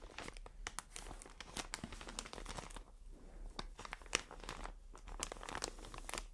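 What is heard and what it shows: A medium white plastic film bag full of cotton pads is held in the hands and scratched and squeezed with long dark nails and fingertips. Dense, bright crinkling and scratchy rustles come in quick bursts, with brief quieter gaps near the middle and a sharper crackle partway through.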